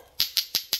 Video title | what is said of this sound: BÁN NHANH - thanh lý nhanh bộ dao nhật, đồng hồ, đèn quả nhót, viên tẩy rửa | gõ vào với nhau thì nó cái tiếng kêu nó cộc cộc này thì các bác Chứng tỏ là Thìa nó rất là dày